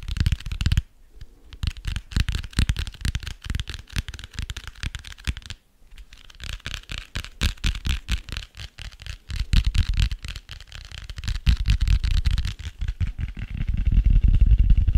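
Fingertips scratch and tap the cardboard cover of a dark grey hardcover notebook held close to the microphone. The result is a rapid, uneven stream of dull, low-heavy taps mixed with dry scratching, with brief pauses near the start and middle. The sound grows louder and denser toward the end.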